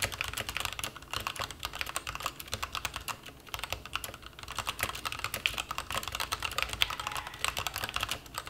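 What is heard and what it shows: Continuous fingertip typing on a white-cased plastic mechanical keyboard with black and white plastic keycaps, resting on a bare desk. Rapid, bright, short clacks follow one another steadily with almost no ring, and a brief lull comes around the middle.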